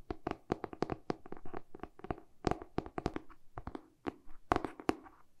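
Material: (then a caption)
Cardboard. A medium hardcover book with a glossy cardboard cover, held in both hands, is tapped and scratched with short pink-painted fingernails, first on the front cover and then the back. Quick, irregular, dry taps with a hollow midrange tone and almost no ring are mixed with soft scratching brushes between them.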